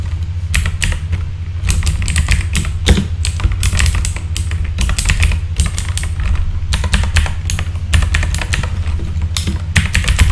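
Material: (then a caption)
Plastic. Fingertips type steadily on a full-size backlit mechanical keyboard with plastic keycaps, producing quick, sharp, bright clicks that die away almost instantly. A continuous low hum sits beneath the clatter throughout.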